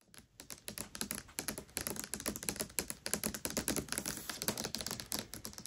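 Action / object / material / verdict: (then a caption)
tap / hardcover book with glossy paper dust jacket / paper / none. Long acrylic nails tap and scratch the glossy paper dust jacket of a solid hardcover copy of *Tress of the Emerald Sea* lying flat. The result is a rapid, steady stream of short, dry, bright clicks, much like typing on a keyboard, with a soft scratchy hiss between taps.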